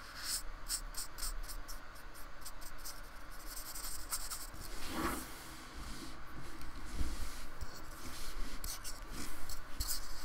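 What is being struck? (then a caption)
Polystyrene foam block. A fine paintbrush is rubbed in repeated strokes across the rough surface of a small painted piece of solid polystyrene foam, held down by the fingertips of the other hand. Soft, scratchy brushing rasps come in quick bright streaks over a steady low rumble, with a few firmer strokes in the middle and near the end.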